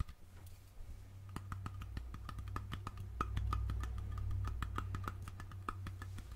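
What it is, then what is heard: Glass jar with metal lid. Fingertips and nails tap the metal screw-on lid and rim of a small glass mason jar filled with something dark and glittery, held in one hand. The result is a quick, uneven run of sharp, bright clicks, each with a short metallic ping around 1.25 kHz, over a steady low hum.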